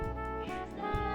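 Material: Nothing is struck.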